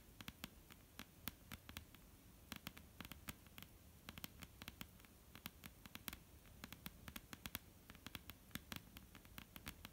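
Long almond-shaped painted nails tap and lightly scratch a flat, solid, dark-brown wooden tabletop. The result is a steady stream of quiet, sharp clicks with bright tops and short decay, over a soft, low scratchy rustle.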